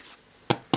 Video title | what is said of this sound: 💛PAIN ULTRA MOELLEUX AUX POMMES DE TERRE FACILE (CUISINERAPIDE) | Ouh, ça sonne creux. Ça veut dire que le pain est réussi.